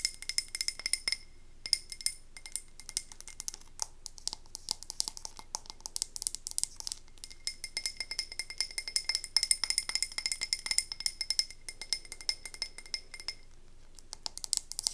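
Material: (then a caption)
Glass. A medium frosted glass candle tumbler with a white-to-navy ombre and a paper label, filled with wax, is held in the hands and tapped with long acrylic nails. Rapid, dense clicking taps produce bright, glassy clinks with a faint high ringing tone that stops almost instantly, with brief pauses between bursts.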